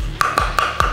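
A light 10 mm basswood board is knocked four times, each knock giving a short, hollow-sounding tap with a bright ring near 1.2 kHz that fades quickly. A low hum sits under the knocks throughout.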